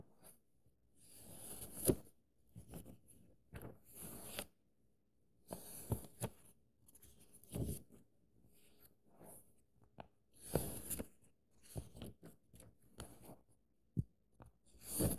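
Bare fingertips trace and rub across the printed paper pages of an open paperback book held flat, and the pages are turned and flipped by hand. Soft, dry rustling scrapes alternate with crisp, brief page flips carrying a bright papery hiss. Quiet pauses fall between the bursts.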